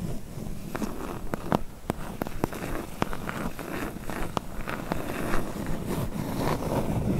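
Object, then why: Closed corrugated cardboard box. Long nails tap and scratch along the lower corners and edges of a medium, hollow, closed corrugated cardboard box. Sharp, short taps land at an irregular pace over a continuous dull, low scratching rustle.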